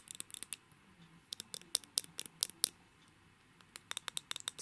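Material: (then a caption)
Lacquered metal. Fingernails tap and scratch along a small, hollow, rectangular Balmain lipstick tube of glossy blue lacquer with gold metal bands, held in the hands. About eighteen quiet, bright, dry clicks come in irregular clusters with a short pause in the middle. Each click stops instantly with no ring.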